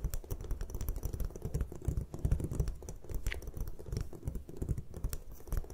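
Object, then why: Gym chalk block. Long nail tips tap rapidly on the top surface of a solid white gym chalk block resting on a table. The result is a dense, steady patter of short, dull, low taps with faint bright clicks, each dying away almost instantly.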